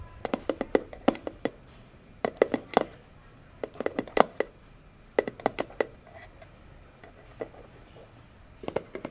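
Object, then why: Cardboard box. Long fingernail tips tap the top of a hollow orange cardboard box in quick clusters of light, dry clicks with pauses between. Each tap is short and hollow, centred in the mid range around 680 Hz with a faint bright edge, and dies away almost instantly.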